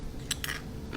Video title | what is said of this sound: WW Digital Wellness Workshop #132: BREAK THE BOREDOM TRAP! | listen to how crispy those are